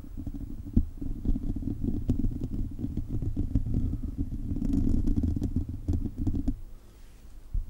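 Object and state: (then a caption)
Metal mesh microphone grille scratched. A hollow silver metal mesh microphone grille is scratched steadily with the fingertips and short nails of both hands. The sound is a dense, low, rumbling scrape full of quick clicks, with a tonal hum around 86 Hz. It fades to a quieter rustle near the end.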